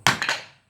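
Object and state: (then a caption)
Hammer dropped on a softer surface, low rebound. A hammer is let fall under its own weight onto a softer surface set in the same spot as a hardened steel plate anvil, giving a bright, sharp strike followed by a quieter second tap as it settles. The hammer barely jumps back, showing much lower rebound than on the hardened steel plate.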